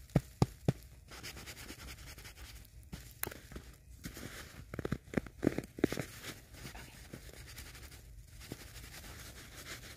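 A large, solid ball of packed snow held on a lap is rubbed and patted by knit-gloved hands. Three sharp pats open the clip, followed by a steady soft crunchy scraping and rubbing with a cluster of louder pats in the middle. The sound stays low and muffled with little brightness.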